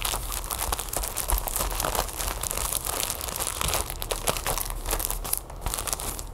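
Long nails tap and scratch across a flat, sealed plastic package holding a folded yellow plastic tablecover, lying on a wooden table. Dense, fast crinkling taps and scratches fill the clip with bright plastic rustle over a low thump. A brief quieter dip comes near the end.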